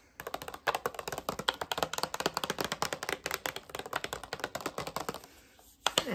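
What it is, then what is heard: Cardboard box with contents. Long red-painted nails tap across the front of a pink rectangular cardboard box with a clear plastic window, holding a manicure set and hollow with its contents inside. A rapid run of short, dry, hollow taps lasts about five seconds, falls quiet, then returns with a few final louder taps near the end.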